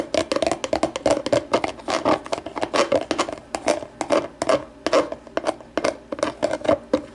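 Long nail tips tap the base of an empty, hollow, translucent plastic deli container turned upside down. A rapid, uneven run of dozens of short, clicky taps, each with a hollow plastic resonance around 560 Hz and a bright edge. Each tap dies away almost at once.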